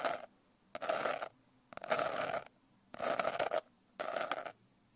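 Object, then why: Glitter-covered hardcover notebook. Long nails scratch quickly over the rough glitter texture of a closed blue glitter-covered hardcover notebook. Five separate bursts of dry, bright rasping, each about half a second long with a faint midrange tone, are split by short near-silent pauses.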